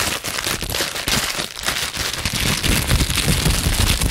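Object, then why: Plastic bubble wrap. A small piece of clear plastic bubble wrap is held close to the microphone while its bubbles are pinched and popped with fingertips and long nails. The result is a dense, irregular stream of rapid crackling pops with a bright edge and a low, thumpy body that grows louder toward the end.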